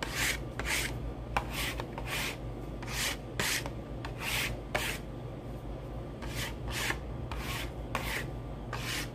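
Fingertips and short nails scratch and rub a small, hollow, printed cardboard retail box of saline solution held in the other hand. About fourteen bright, dry scratching bursts come in uneven bunches, some with short sharp clicks. A steady low hum runs underneath throughout.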